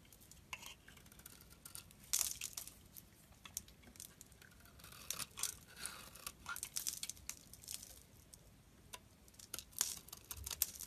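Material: Soap.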